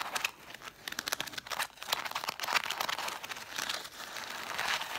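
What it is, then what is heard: Stack of cloth-bound hardcover books. Long dark acrylic nails scratch and tap the cloth spines of a solid stack of about seven red cloth-covered vintage hardcover books. Dense, dry, crinkly scratching is mixed with quick, sharp taps that have almost no ring. The sound is bright and high-pitched, with nothing in the low end.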